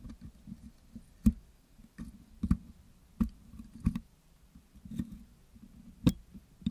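A metal pick scratches across the top of a Blue Yeti microphone's hollow metal wire-mesh grille, which is covered in wet green putty. The result is a low, muffled scraping and soft squelching, broken by sharp, bright clicks where the pick catches the mesh.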